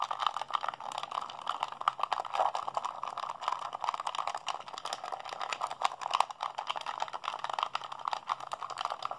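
Fingertips and thumbs rapidly mash the buttons of a hollow, blue plastic PlayStation 3 handheld controller held in both hands. The result is a fast, continuous stream of short, dry plastic clicks and rattles, centered in the mid-range around 1 kHz, with no low end.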